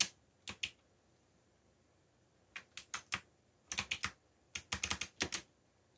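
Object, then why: Plastic mechanical computer keyboard. Fingertips type on a backlit mechanical computer keyboard with black plastic keycaps, producing 15 short, bright, clicky taps in irregular bursts. Each tap dies away almost instantly, with quiet gaps between the clusters.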